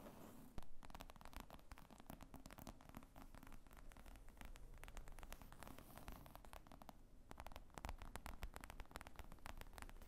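Long nails tap rapidly on the top of a black leather laptop bag with zippers, lying on a table, padded and hollow. The sound is a quiet, steady stream of soft, short clicks and scratchy patter over a low, dull thud-like body, continuing for the whole clip.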